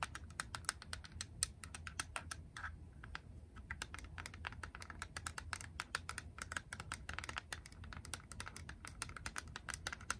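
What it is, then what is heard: Plastic game cartridge. Long acrylic nails rapidly tap and scratch a small grey hard-plastic Game Boy cartridge with a hollow shell. They make dense, sharp, clicky taps with a bright plastic tick, over a steady low hum.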